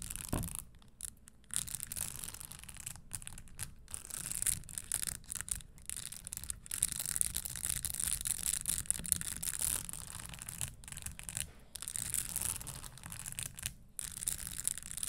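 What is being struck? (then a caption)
Spike-studded leather stiletto shoe. Long nails scratch and brush over the spikes of an empty red spike-studded leather Christian Louboutin stiletto pump. The result is a steady, bright, raspy scratching broken by brief pauses, with a faint low rumble underneath.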